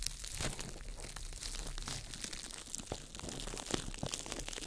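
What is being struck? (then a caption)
Ball of crumpled plastic wrap. A small ball of crumpled clear plastic wrap is crinkled by fingertips over a microphone. It gives a dense, continuous crackle of bright, sharp crinkles over a low rumble, at a steady level with a few louder snaps.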